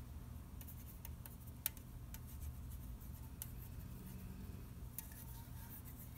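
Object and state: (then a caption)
Aluminium soda can. A fingernail taps on the printed side of an unopened red aluminium orange soda can held in the hand. The taps are faint, short, bright ticks with almost no ring, over a steady low background rumble, with one sharper tap standing out.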